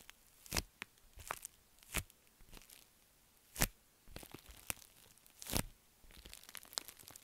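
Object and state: Metallic foil bubble mailer being crinkled.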